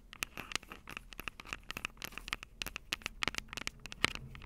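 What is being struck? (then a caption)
Metal microphone capsules of a handheld recorder. Long purple acrylic nails tap and scratch the two metal microphone capsules of a small black plastic Tascam DR-05 handheld recorder held upright. A quiet, rapid stream of sharp, bright clicks and scratchy crackles follows, with a faint ringing tone near 2.2 kHz and no lingering decay.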